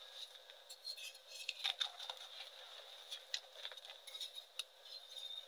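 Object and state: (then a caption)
Reformed gym chalk block being crushed. A solid, palm-sized, heart-shaped block of reformed light gray gym chalk (magnesium carbonate) is cracked and crushed into crumbly chunks by bare fingertips and hands over a dark surface covered in chalk powder. Many short, dry, bright crunches and snaps rise over a soft, steady gritty crumble, with no low end. Each crack dies away almost instantly.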